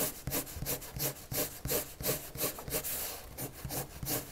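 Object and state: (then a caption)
Paper sheet being shaded with pencil. A red colored pencil makes eleven repeated shading strokes across a white paper sheet lying flat, scratching the paper surface. Each stroke is a soft, bright, papery scratch, about three per second in a steady back-and-forth rhythm.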